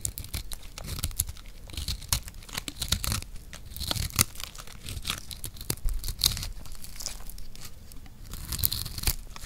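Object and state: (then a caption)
Dry recycled soap block. A palm-sized, solid, green turtle-shaped block of dry recycled soap is held in one hand and scraped and cut with a metal blade. Dense, dry tearing and crunching scrapes with a bright, crackly edge repeat throughout. Crumbs fall onto other soap pieces.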